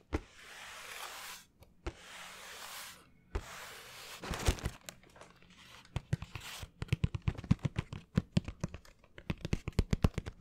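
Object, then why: Cardboard shoe box. A plain brown cardboard shoe box, hollow and closed, is held up close and tapped with fingernails and fingertips. It opens with a few sharp clicks and long, papery scraping swishes, then shifts into a quick run of crisp, dry taps. The taps have a low, hollow thump underneath and die away almost instantly.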